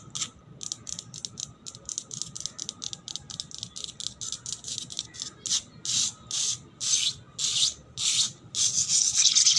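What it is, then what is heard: Wet concrete floor scratched with nails. Long black nails scratch quickly across a solid, wet painted concrete floor. A fast series of short, bright, raspy strokes comes in a loose rhythm. Toward the end the strokes grow longer, louder and more hissing.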